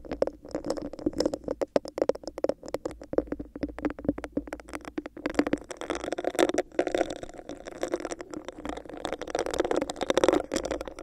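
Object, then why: Textured plastic cup. Long nails scratch and tap rapidly on a hollow, empty, clear, bumpy plastic cup held over a microphone. The result is a dense run of sharp, dry clicks and raspy scratches with a hollow, boxy resonance around 350 Hz. The texture is busier and brighter in the second half.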